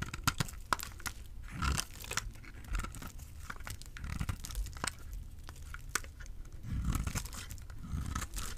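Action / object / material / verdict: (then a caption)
scrape / bar of soap cut with a knife blade / soap / none. A small, solid white bar of dry soap with an orange side is held in the hand and carved with a utility knife blade, flaking off shavings. Crisp, dry scraping and crunchy cutting sounds come in repeated short strokes, with sharp bright clicks over low, muffled thuds. The shavings crackle as they break away.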